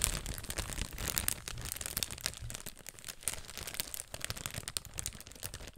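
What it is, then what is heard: Clear plastic bag. A small, thin, flexible clear plastic bag is held in both hands in front of a microphone and crinkled and crumpled between fingertips with painted nails. Dense, bright crackling runs throughout in quick, closely packed bursts with a soft low rumble underneath, with louder snaps standing out near the first and third seconds before the crinkling eases off slightly toward the end.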